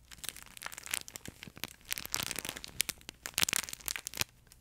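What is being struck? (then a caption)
Plush fabric pet toy with crinkle insert. A yellow plush fabric duck pet toy with a crinkle insert is scratched and squeezed with nails and fingertips. The result is a dense, irregular run of bright, high crinkling and crackling bursts with almost no low end, separated by brief quiet gaps.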